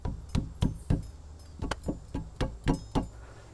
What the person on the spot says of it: this whole block here is loose and a great way to find that out is you give it a tap